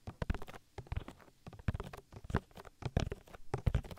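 Oiled fingertips rub and squish over the silicone ear of a binaural microphone in continuous massaging strokes. Close, wet squelching and soft pattering come through in a dense, irregular string of low, muffled squishes.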